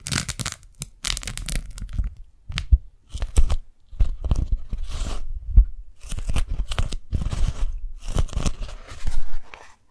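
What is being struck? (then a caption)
Beeswax-coated cotton food wrap. Fingers unfold a pink strawberry-print beeswax-coated cotton food wrap, peel it open and stretch it flat. The result is bursts of sticky, crackling crinkles and peeling rasps, separated by short quiet gaps and backed by soft, low handling thumps.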